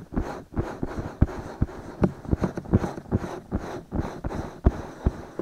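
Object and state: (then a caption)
Silicone microphone ears being scratched. Fingertips scratch and rub both soft silicone ears of a binaural microphone. About fifteen dull, low thumps and brushing strokes land in an uneven quick rhythm over a continuous rustling scratch. Each stroke dies away almost immediately.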